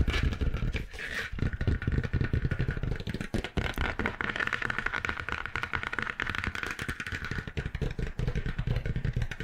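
Long acrylic nails tap and scratch the textured, stitched faux leather cover of a medium-sized dark grey notebook held upright. A dense, continuous run of quick, dull thumps with a heavy low end runs through the whole clip, layered with a brighter scratchy rasp. The taps stay at a fairly even level with short, dry decays.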